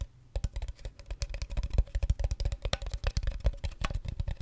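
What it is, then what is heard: Plastic water bottle. Fingernails tap rapidly on a clear, seemingly empty plastic water bottle with a red cap, held tilted close to the microphone, while the hand crinkles it. The result is a dense run of short, dry clicks and crackles with heavy low-end thumps and a faint steady tone underneath after a brief quiet start.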